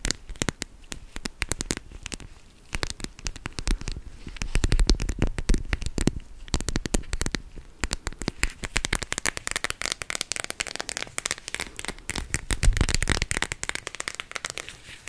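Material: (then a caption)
Plastic. A teal-rimmed clear plastic gel-bead cooling pad, held flat, is rapidly scratched and tapped with long nails for about 15 seconds. The result is a dense stream of sharp, crackly clicks and scratchy rustles with a dull low thump under them. Each tap dies away almost instantly, and the bursts come in uneven waves that grow louder around the middle and near the end.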